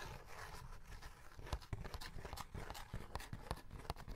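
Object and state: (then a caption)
Cardboard snack box. A small rectangular printed cardboard box of Tongku chocolate wafer sticks, held in the hand and apparently full, is scratched and tapped with short fingernails and fingertips. It makes a quiet, continuous low scratching and crinkling, broken by short, dry, sharp taps that die away almost instantly.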